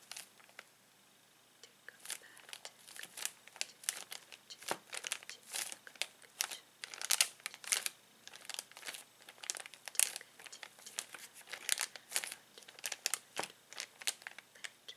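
A palm and fingers rub and press a clear plastic zip bag holding plastic toy pieces. After a brief quiet start, dense bursts of bright, high crinkling and crackling follow one another, each short and dry with almost no low end.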